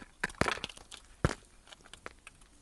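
A utility knife blade cuts and scrapes a solid blue bar of soap that has been scored into cubes and is held in the hand. Two sharp, crunchy cracks stand out among a run of lighter crisp snaps and scraping ticks. Each break is dry and short, dying away almost instantly.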